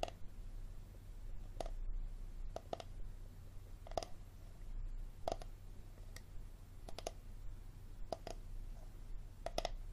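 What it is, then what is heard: Hard plastic water bottle. A hard plastic water bottle is tapped and scratched, giving sharp, dry clicks spaced irregularly over a steady low hum. Each tap dies away almost instantly, with a hollow midrange tone and a bright tick, while faint scratching fills the gaps.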